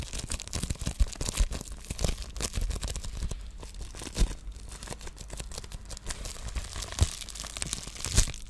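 A white plastic padded bubble mailer with a wrapped item inside is squeezed, crinkled and scratched with fingertips and long nails. Dense, dry crinkling and scratchy rustling run throughout over a low rumble. Louder, sharper crunches stand out every second or few.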